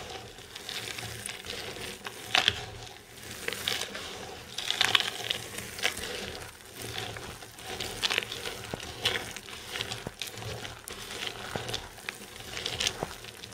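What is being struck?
Soap shavings and chips.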